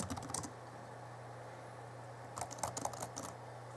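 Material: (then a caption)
Plastic. Fingertips of both hands rapidly tap the plastic keys of the backlit chiclet keyboard on a 2011 Alienware M11x2 laptop. Two quick bursts of light, clicky key taps come at the start and again near the end, over a steady low hum.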